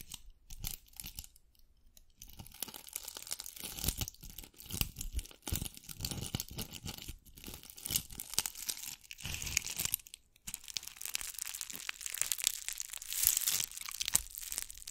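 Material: Glass beads.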